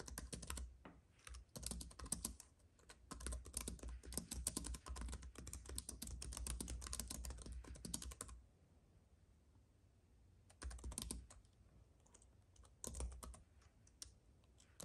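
Both hands type with their fingertips on a slim white computer keyboard with plastic keys on a silver aluminum base, a paintbrush lying unused nearby. Rapid, dense bursts of light plastic key clicks with soft low thuds run for about eight seconds, then stop. After a near-silent pause, two brief flurries of typing follow.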